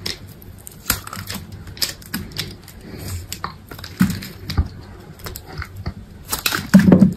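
A utility knife slices thin layers off a solid white bar of soap that is already partly carved. Irregular crisp cutting clicks and short scrapes come over a low, dull undertone, with the loudest and crunchiest slices near the end.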